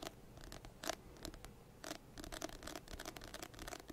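A medium paperback textbook with an orange-banded "Second Edition" cover and solid paper is held close to the microphone and scratched or tapped with fingertips and nails. Quiet, dry scratching strokes and short taps come in uneven bursts, with bright rasping edges and no ring.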